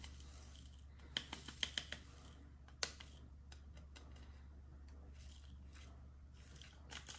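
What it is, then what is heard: Plastic diamond painting tray. A small, hollow, dark maroon resin diamond painting tray with a ribbed surface is held in one hand while fingernails scratch and strum along its ridges. Quiet, bright, dry clicks and rasps come in sharp bursts, clustered early, then fade to softer scratching over a steady low hum.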